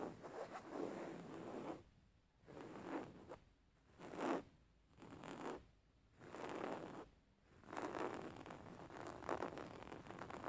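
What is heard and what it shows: Fingernails scratch and tap a beige woven linen fabric cushion lying flat, producing dry, scratchy rustling bursts centered in the low-mid range. The scratching comes in short passes separated by quiet pauses, then turns into a longer continuous stretch at the end.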